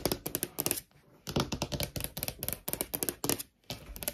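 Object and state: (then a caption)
Wood-grain laminate desk. Long nails tap fast with both hands on a large, solid desk top with a wood-grain laminate surface. Quick bursts of sharp, bright clicks with a soft low knock under each tap die away almost instantly. The runs break off in two brief pauses before the tapping starts again.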